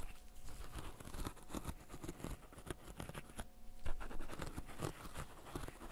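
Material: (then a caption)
Silicone. Fingertips in fishnet gloves press the hollow bubbles of a flat green silicone pop-it fidget toy. The result is a quick, irregular patter of soft, dull pops with a low thump and faint scratchy rubbing between them. Each pop dies away almost at once.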